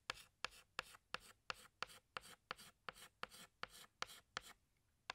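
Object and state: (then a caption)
Chalk drawing on a chalkboard. A hand scratches a tan chalk stick across a large, flat black chalkboard while drawing flower petals. Fifteen short, bright, scratchy strokes come in an uneven rhythm, each with a quick attack and almost no ring, followed by a brief pause before the last stroke.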